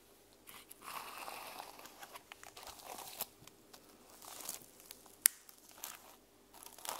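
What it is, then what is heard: Sequin-covered journal. Long nails scratch across and flip the plastic sequins on the cover of a closed sequin-covered journal. The result is a quiet, bright, dry crinkling and rasping texture in uneven bursts, with a sharp click near the five-second mark. There is almost no low end.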